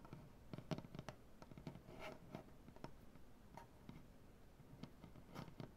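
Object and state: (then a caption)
Wooden butcher-block tabletop. Both hands scratch the wood of a large solid maple butcher-block tabletop with painted nails, making quiet, soft scraping with a series of short, dry clicks. The sound is low-weighted and dies away almost instantly after each stroke.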